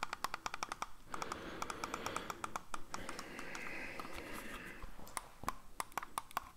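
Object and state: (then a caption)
Plastic computer mouse. A hollow black plastic computer mouse is held in the hands and tapped and clicked with fingertips, giving a rapid run of sharp, dry clicks with a bright ping that stops almost instantly. In the middle stretch the crisp clicks give way to a softer, continuous scratchy tapping texture before quick clicking returns at the end.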